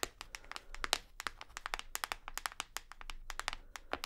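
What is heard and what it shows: Long nails tap on the textured bottom of a full white plastic shower gel bottle. The result is a rapid, uneven series of short, dry, bright clicks with almost no ring, over a faint low background hum.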